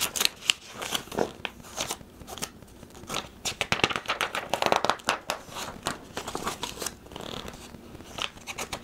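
Fingertips turn and flex the glossy paper pages of a thin, medium-sized printed catalog, an orange sign-making equipment brochure, held in the hands. Crisp, bright rustling and crackling comes in quick, irregular bursts of short snaps, with quieter stretches of soft sliding between them.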